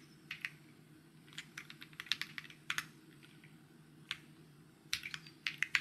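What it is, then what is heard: Plastic mechanical keyboard. Fingertips tap away on a white mechanical keyboard with plastic keycaps, producing short, bright clicks in irregular bursts. There are pauses between clusters, over a faint low hum.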